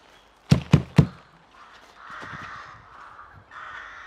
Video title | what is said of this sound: Walk around nostalgic childhood woodland & looking for early signs of spring. | we'd knock on it because it's completely hollow